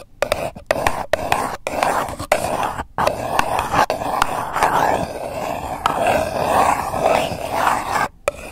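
Long acrylic nails scratch a single empty purple paper cup, hollow and thin-walled, resting on the microphone. A steady run of dry, scraping strokes with short breaks between them gives a hollow, papery rasp centred in the midrange with a bright hiss on top.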